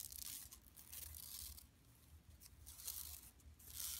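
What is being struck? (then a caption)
Woven plastic mesh shopping bag. Long nails on both hands scratch across an empty, large, flat yellow woven plastic mesh tote bag lying on carpet. The result is dry, bright, tearing-like rasps in repeated bursts over a faint low rumble.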